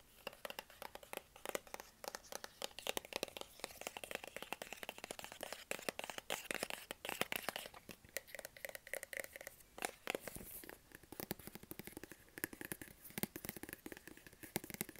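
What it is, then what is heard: Cardboard phone box. Fingertips tap and scratch the sides of a small, hollow white cardboard Apple iPhone box held upright. The result is a dense, rapid stream of dry, short taps mixed with scratchy, crinkly friction, bright and thin with almost no low end. Each tap dies away almost instantly, with bursts of faster tapping around the middle and the later part of the clip.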